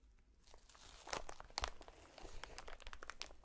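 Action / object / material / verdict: scrape / polyethylene air cushion packaging sheet / plastic / none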